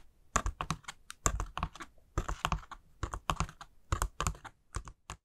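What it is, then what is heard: Paper honeycomb decoration tapped and scratched with nails. Long nails scratch and tap along the folds of a hollow white pleated paper honeycomb ghost lantern. The result is a quick run of dry, crisp taps and papery scratches, each dying away almost instantly, with a soft low thump beneath the brighter rustle.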